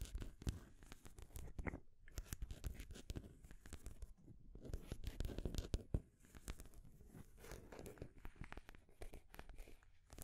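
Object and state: Painted wooden stacking ring toy.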